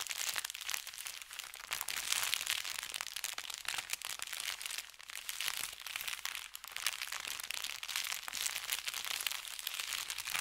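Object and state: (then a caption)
Paper bag. An empty brown kraft paper bakery bag with red lettering lies flat on felt and is rubbed and scratched with the fingertips. The result is a steady, dense stream of bright crinkling and scratchy crackles that swells and eases over about ten seconds, with almost no low end.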